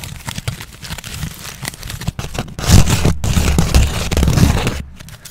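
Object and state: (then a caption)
Crumpled aluminium foil. A sheet of crumpled aluminium foil is squeezed into a ball by hand, giving a run of dense crinkling and crackling. The rustle is soft at first, then grows louder and fuller partway through before easing off again.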